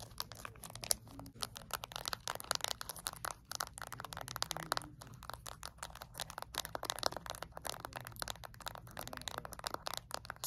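Long acrylic nails rapidly tap and scratch the rubber buttons and casing of a small flat plastic LED remote control held in both hands. The result is a dense, continuous stream of quick, bright clicks and crinkly scratching with no ring after each tap.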